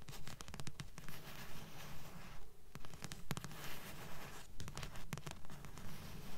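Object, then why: Paperback book with card cover. Long nails tap and scratch the front of a thick blue paperback book with a solid paper block and glossy card cover, held upright. Quick, dull, low taps fall in a steady rhythm, each dying away almost at once, mixed with a soft papery scratching rasp.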